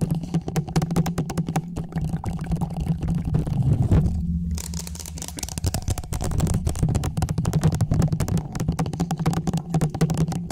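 Fingertips and nails rapidly scratch and tap the sides of a small, hollow orange plastic traffic cone with a silver reflective band, held upright over the microphone. The result is a dense, continuous patter of short, dry taps and scrapes over a boomy, hollow low resonance. The sound briefly softens just after the four-second mark before the fast tapping resumes.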